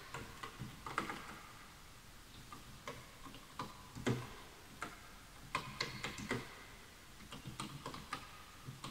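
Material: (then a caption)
Bamboo wood. Fingertips of both hands type on the wooden keys of a full-size bamboo-look wooden computer keyboard resting on a white desk. About 18 irregular, quiet keystrokes sound as short dry clicks with a soft low thump and bright tops. Each decays almost instantly, with brief pauses between bursts.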